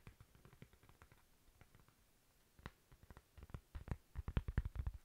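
A thin, flat, toast-shaped solid cork coaster is held in the hand and tapped and scratched with long nails. Soft, dull, low taps and faint scratching stay quiet at first, then grow louder and quicker toward the end.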